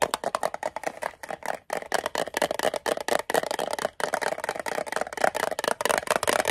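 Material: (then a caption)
Metal. A small, hollow, closed rectangular green metal Altoids mint tin, gripped in both hands, is tapped fast with fingernails on its lid, sides and edge. The result is a rapid stream of short, dry, tinny clicks centered in the midrange, with a bright edge, no low end and almost no ring. The clicks break briefly at about 1.7 and 4 seconds.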